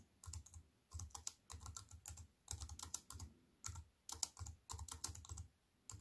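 Fingertips with long white nails type on a slim wireless keyboard with a silver aluminium frame and black plastic keys, resting on a wooden table. Quick bursts of light, clicky taps come with short pauses between them. Each tap gives a bright, crisp tick over a soft low thump and dies away at once.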